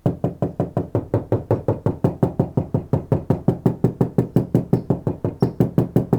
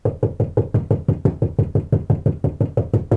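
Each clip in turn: First: undamped steel car door panel. Second: deadened steel car door panel.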